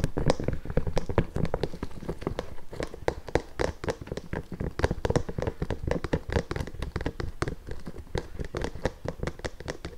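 Fingertips and long nails tap and scratch the leather upper and sole edge of an empty pink nubuck leather boot. Rapid, irregular streams of short, dull, low-heavy taps fall with almost no ring, mixed with soft scratching.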